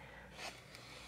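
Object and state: Nothing is struck.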